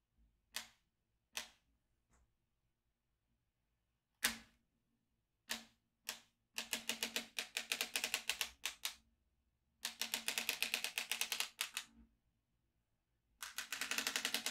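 A yellow magnetic pen is drawn over the holes of a black plastic magnetic drawing tablet with steel beads, held in one hand, clicking the beads into place. A few separate sharp, bright clicks come first, then rapid, dense bursts of high, dry clicking that stop and start, each click dying away almost instantly.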